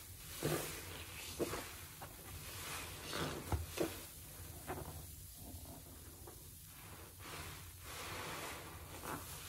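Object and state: Nothing is struck.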